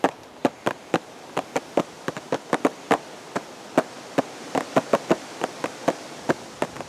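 A hollow purple and white cardboard teacake box, held at the chest, is tapped with the fingertips about 25 times at an uneven pace. Each tap is a short, dry, hollow knock with a mid-range tone around 570 Hz that dies away almost at once, over a steady soft hiss.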